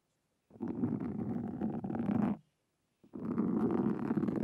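A black foam windscreen on a Zoom recorder is scratched with two wooden-handled carving tools with thin metal tips. Two long, dense bursts of low, rough rasping sound close to the microphone, the first lasting about two seconds and the second starting after a short silence and running to the end.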